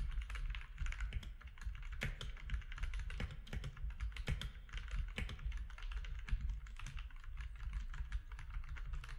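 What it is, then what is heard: Plastic mechanical keyboard being typed on. Fingertips of both hands type steadily on a compact mechanical keyboard with grey, white and orange plastic keycaps. They produce a fast, continuous stream of short, dry clicks and clacks, with occasional louder strikes, over a steady low hum.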